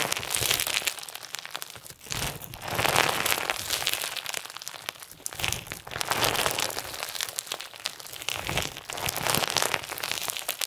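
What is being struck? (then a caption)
Clear slime with plastic sequins. Clear slime with pink and white plastic sequins is stretched and folded in the hands while fingertips press the sequins. Dense, bright crunching and crinkling crackles continue throughout, swelling and easing in loose waves.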